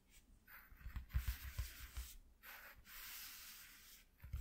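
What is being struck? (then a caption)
Corrugated cardboard sheet. Short fingernails scratch and rub along the ridges of a flat white corrugated cardboard piece lying on a dark cloth, using both hands. Bright, papery scraping strokes come in irregular bursts and long sustained rubs, over soft low thumps where the hands press the cardboard. The result is a quiet, dry, raspy texture.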